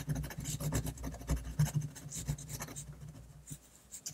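The metal nib of a black Rotring fountain pen, held in the fingers, scratches across a large flat sheet of white drawing paper lying on a surface in quick, short hatching strokes. Rapid, uneven, dry scratching ticks and rubs come in a busy stream over a steady low hum, thinning out and growing quieter toward the end.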